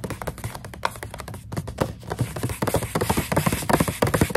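A fingernail taps quickly and irregularly on the front and the clear window of a full plastic snack pouch of dried coconut strips. The taps are short and dry with a low, hollow thud, and soft plastic crinkling fills the gaps between them, growing busier and louder toward the end.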